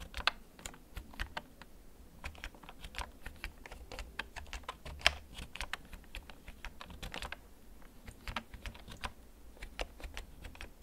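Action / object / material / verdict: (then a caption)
tap / plastic mechanical keyboard / plastic / none. Fingertips type slowly on a held-up Storm Xenics K4, a full-size black plastic backlit mechanical gaming keyboard with a hollow case. Sharp, bright key clicks land at an uneven pace over a faint low rumble, with a few louder strikes standing out. Each click dies away almost instantly.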